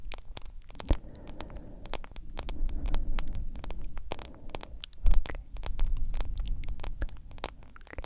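A hand-sized smartphone in a yellow silicone case, held close to the microphone, is tapped and scratched with long acrylic nails. Rapid, sharp clicks are heard over a low rumbling, scraping texture, with two louder knocks standing out.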